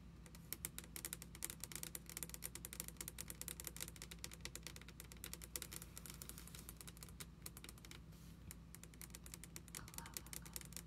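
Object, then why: Wooden table top tapped with fingernails. Long red acrylic nails tap rapidly on a flat, solid wooden table top, with both hands resting on the surface. A dense, continuous stream of sharp, bright clicks rattles on with almost no ring, like fast typing. A steady low hum sits underneath.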